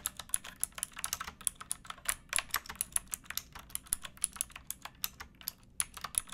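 Both hands type with fingertips and nails on a pink backlit mechanical keyboard with plastic keycaps. Rapid, bright, crisp clicks follow one another with almost no ring and only a faint low hum beneath.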